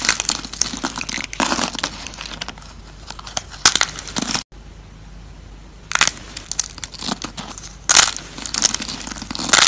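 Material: Soap.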